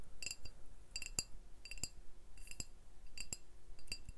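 Glass beer bottles are tapped, giving bright, short clinks that ring at high pitch. The taps come in small clusters spread through the clip.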